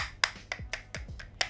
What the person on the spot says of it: it sounds a little bit plasticky, but not entirely low quality